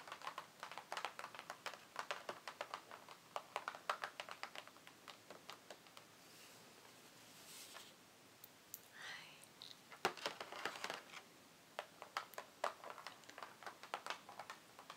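Long fingernails tap and scratch across the top of a closed, printed cardboard Ciaté nail polish advent calendar box resting on a wooden table, with hands sometimes at its edges. Quick, bright clicking taps come in dense bursts, easing into a quieter stretch of soft scratching midway before the tapping picks up again.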